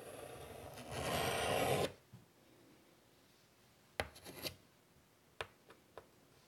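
A hand draws a curvy outline with chalk on a large, flat black chalkboard in a light wood frame lying on a table. A steady, gritty rasp of chalk scraping along the board swells louder and brighter, then stops abruptly. After a quiet pause come a few short, sharp chalk taps and quick scratches.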